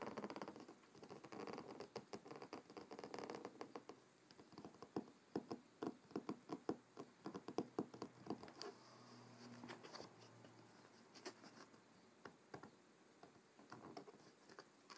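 Fingertips tap the front cover of a closed, thick hardcover book with a dark blue cloth cover resting on a wooden table, making quiet, soft, dry pattering taps that die away almost at once. The taps come in uneven clusters over a faint steady hiss, thinning into gentler, scattered taps near the end as the hands move to the edges of the cover.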